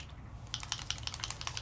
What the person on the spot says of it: can you hear it's got that little bearing ball in there